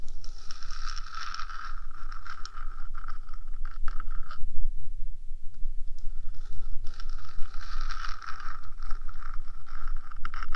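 Long nails on one hand scrape and tap the top of a 3Dio microphone's small rectangular metal box, making a steady, close scratching with a bright hiss and a band of rasp in the midrange. The scraping eases into a softer, duller stretch midway through, then resumes just as dense over a constant low rumble.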